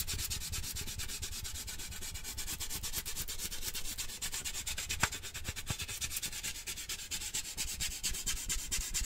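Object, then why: Large lidded metal tin can. Fingertips and nails rub and scratch the side of a large, lidded, handheld cylindrical metal cheese-puff tin decorated with a puppy print. The result is a dense, steady run of rapid scratchy strokes with a bright hiss over a low, hollow rumble. One sharper tick stands out near the middle.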